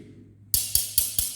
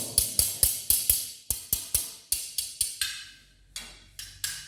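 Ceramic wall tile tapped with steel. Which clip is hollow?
The second.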